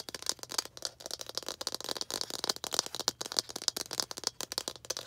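Long green acrylic nails tap quickly on a small hollow red plastic ball held up close. The result is a dense, irregular stream of short, bright clicks and rattling ticks that stop instantly, with almost no low end.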